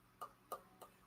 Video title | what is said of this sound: I want to hear from YOU! #vinyl | it's a a dull Bassy thud